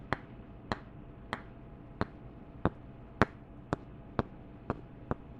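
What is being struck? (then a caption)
Two wooden candle lids. Two wooden candle tops are tapped together ten times at a slow, steady pace. Each tap is a short, dry knock with almost no ring, heard over a faint steady hiss.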